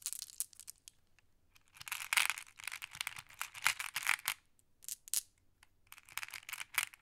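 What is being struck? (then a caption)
Small flat glass pebbles. A fingertip with a long nail pokes and sorts a pile of small, solid, flat glass decorative pebbles while the other hand holds a handful of green pebbles. Bright, crisp glassy clicks and clatters come in dense bursts separated by brief quiet pauses, each click dying away almost instantly.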